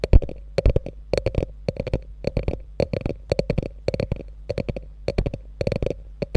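Long nails scratch quickly along the top of a small, hollow beige quilted faux leather handbag with a gold metal logo. The result is a rapid series of short, dry scratching bursts with a dull, low, hollow body and little ring.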